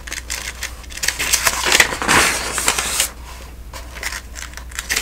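Fingers turn the thin paper pages of a thick, open telephone directory one after another, making crisp, bright rustles and flicks. The page-turning grows denser and louder for about a second in the middle, then settles back into softer, scattered flips over a faint steady low hum.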